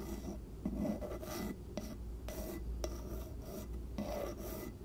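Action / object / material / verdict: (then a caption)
scrape / bamboo lid on a small glass jar / bamboo / none. Long nails scratch and tap across the flat top of a round wooden bamboo lid sitting on a small glass jar. Raspy, filing-like scraping strokes come in bursts with a bright hiss, punctuated by a few sharp taps, over a steady low rumble.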